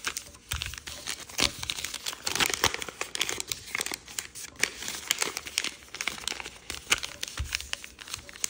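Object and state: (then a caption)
Origami paper sheet. A thin, folded origami paper sheet with a triangle pattern lies flat on a wooden table and is pressed and rubbed with fingertips to sharpen its creases. The result is a dense, steady stream of bright, crisp crinkling and rustling, broken up by short, sharp crackles. There is almost no low end.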